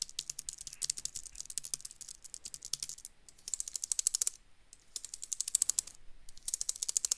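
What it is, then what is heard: Plastic computer keyboard. A slim dark gray plastic wireless keyboard, held upright in one hand, has its keys pressed and tapped rapidly with the fingertips of the other hand. Bursts of quick, bright, dry plastic clicks come with brief pauses between them. Each click stops short with no ring.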